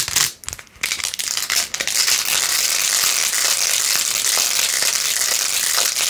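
Long acrylic nails fast-scratch across the rows of pink plastic pearl beads glued onto a handheld, rose-gold-edged plastic phone case. The sound is a bright, dry, crinkly clicking and scraping that starts in short bursts with brief gaps, then settles into a steady, dense rasp for the rest of the clip.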